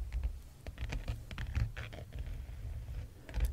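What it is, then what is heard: Leather-bound hardcover book cover. Fingertips and short nails of both hands tap and scratch the brown leather or faux-leather cover of a large, solid hardcover Hammond Medallion World Atlas with gold lettering, lying closed on a patterned rug. A quick, soft patter of dull, low thuds mixes with brief, brighter scratchy strokes, each sound dying away almost at once.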